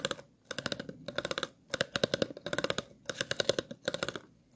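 The tip of a pair of scissors scratches and taps along the grooves of an empty, hollow, clear plastic water bottle with a ridged body. Rapid, dry, bright clicks come in short bursts separated by brief pauses, each click dying away almost instantly. The clicks carry a hollow tone around 550 Hz.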